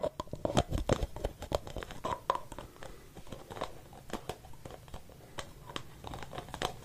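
A hollow white plastic aerosol spray-can cap is held alone in the hand while fingertips and nails tap and scratch its outer surface. The result is a dense run of quick, dry clicks and scratchy rasps with a hollow mid-range plastic tone and a soft low thump beneath. The sound is busier and louder at the start, then continues as lighter, steadier tapping and scraping.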